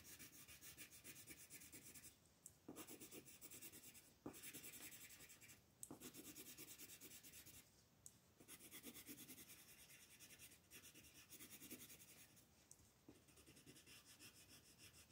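A green colored pencil rubs and scratches across a thin sheet of white mandala paper lying flat on a table, while the other hand with long nails rests on the paper. Continuous coloring strokes produce a bright, raspy scratching texture, broken by a few brief pauses and small ticks as the strokes change.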